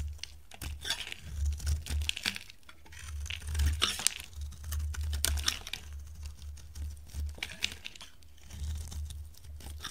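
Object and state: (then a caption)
Dry bar soap being carved. A hand with dark long nails holds a solid, dry, hand-sized green bar of soap and shaves and carves it with a metal utility knife blade, letting curls fall off. Repeated crisp, crunchy scraping strokes with bright, tearing edges sit over a steady low rumble.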